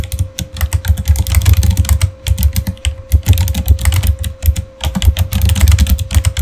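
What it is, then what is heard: Plastic mechanical keyboard being typed on. Fingertips type fast on a backlit Razer Fire mechanical keyboard with clicky plastic keycaps. Rapid bursts of clacky keystrokes with deep, thumpy low ends and bright click tops come in three runs separated by brief pauses, over a faint steady tone.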